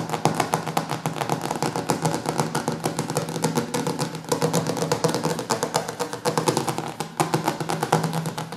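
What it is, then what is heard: Glossy hardcover cookbook. Fast fingertip and short-nail tapping on the glossy laminated cover of a large, solid hardcover cookbook lying on a wooden table. Dozens of quick, dry taps follow one another in a steady stream, each with a short, bright click and a low thud that dies away almost at once. A faint low hum runs underneath.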